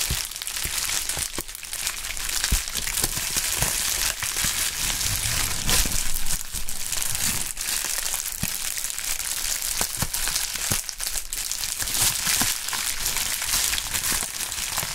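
A medium sheet of pink anti-static plastic bubble wrap with air-filled bubbles is held in the air and crumpled and squeezed by gloved hands with bare fingertips. A steady, bright crinkling continues throughout, broken by scattered sharp snaps and crackles with a low thump underneath.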